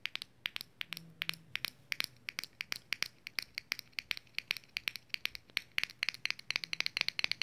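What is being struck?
Small metal lip balm tin lid.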